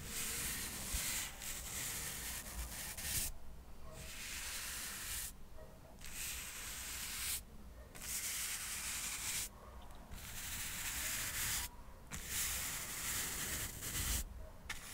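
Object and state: Cork coaster stack being brushed.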